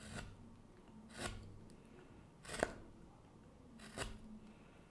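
A gouge makes short scraping cuts on the exterior wood of a small wooden kuksa cup held in a gloved hand. Four brief, broadband rasping scrapes, the third the loudest, come at uneven intervals over a quiet, low background.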